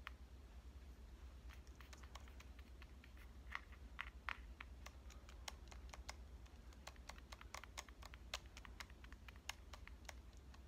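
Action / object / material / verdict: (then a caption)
tap / metal-fronted compact digital camera / metal / none. A small pink Canon compact digital camera, a hollow device with a metal-finish front, is held upright in one hand while long dark-painted nails tap its front body and lens area. The result is a quick, irregular patter of short, dry, bright clicks with almost no ring, a few slightly louder, over a steady low hum.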